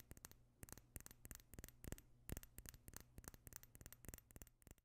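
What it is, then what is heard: Small glass perfume bottle. A small clear glass perfume bottle with a pink tint is held close to the microphone and tapped and scratched with fingernails. The result is a quiet, steady stream of short, sharp clicks with bright, crisp tops, over a soft low hum and light scratching between taps.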